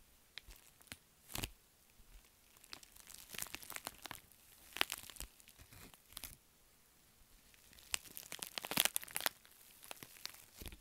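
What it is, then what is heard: Metallic foil bubble mailer. An empty, flat pink metallic foil padded bubble mailer is tapped and scratched with long nails while hands squeeze and crinkle it. Dry, bright crackles and crisp crinkling bursts come in uneven clusters, with sharp taps standing out between quieter rustling.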